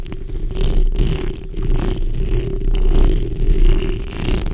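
The backs of long pink and red acrylic nails, using both hands, scratch across the hollow metal mesh grille of a large black condenser microphone. The result is a continuous, dense, boomy scratching rumble concentrated in the low end, with a steady low hum and brief faint bright swishes.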